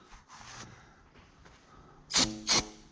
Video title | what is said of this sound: Forklift Fixin' and Round Baler Drama | That sounds hollow. I suppose it saves in steel. Yeah, it sounds hollow.